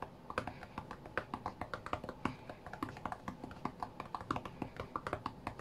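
Both hands tap quickly with their fingertips on the glass touchscreen of a white iPad lying flat on a mat. The result is a dense, uneven stream of soft, dull taps, each a short thud with a slight click and almost no ring, at a fairly quiet level.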